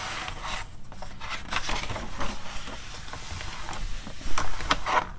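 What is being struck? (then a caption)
Paper magazine page. Fingertips and long nails rub and scratch across the flat paper of a magazine opened to its blank white inner cover pages. A steady, soft papery rasping continues throughout over a low rumble, with bright scratchy strokes that grow louder near the end.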